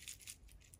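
An old, dirty plastic-and-metal headlight switch removed from a 1998 Porsche Boxster 986 is shaken, giving a brief, light, high-pitched rattle of small loose bits clicking inside. The switch is faulty; replacing it fixed the car's intermittent tail light.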